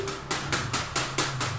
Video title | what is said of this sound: PERBEDAAN LAYANGAN SUKHOI DAN LAYANGAN SEOT II BUAT JUNIOR HARUS TAU | Di kertasnya itu bunyinya beda. Ini kertas minyak